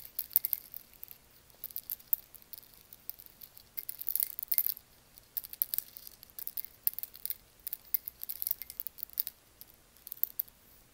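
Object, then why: Whole roasted coffee beans in a stone bowl. Both hands dig into and rub dry, whole roasted coffee beans in a lava stone molcajete, then sprinkle handfuls back into the bowl. The beans make quiet, bright, crisp clicks and dense rattling bursts, each tick dying away almost at once.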